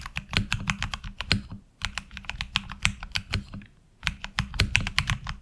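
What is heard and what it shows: Fingertips type on a HyperX Alloy Origins Core mechanical keyboard with ABS keycaps, heard close from the side. Crisp, bright clacks come in three quick bursts separated by short pauses, and each key strike dies away almost instantly. A steady low hum runs underneath throughout.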